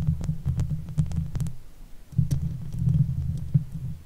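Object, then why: Steel mesh microphone grille. Long white fake nails on both hands gently scratch the hollow steel mesh grille of a silver Blue Yeti microphone. The result is a deep, muffled rumbling of scratches with faint clicky ticks, fading briefly near the middle before picking up again.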